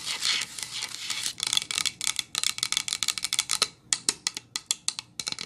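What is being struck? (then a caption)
Pine wood plank. Long acrylic nails of both hands tap and lightly scratch a medium-sized solid pine-wood plank sign lying flat on a towel. A soft, bright scratching wash gives way to a quick run of crisp, clicky taps that die away almost instantly, all sitting high in the range with no low end.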